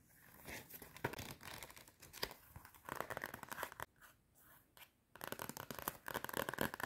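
Long nails scratch the cardboard cover of a clapperboard-style notepad with a metal spiral binding and run along its edge. Dry, papery scratching and rasping comes in quick bursts, with a quieter lull near the middle. The scratching then returns denser and brighter toward the end.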